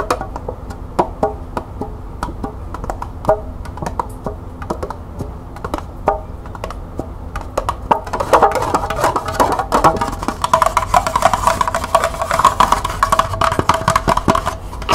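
Long nails tap quickly on the base and side of a small, hollow, empty green plastic cup held sideways. Sharp, dry clicks come in scattered bursts at first, then turn louder and denser after about eight seconds. The rapid tapping brings out a hollow tone near 900 Hz that dies away almost at once.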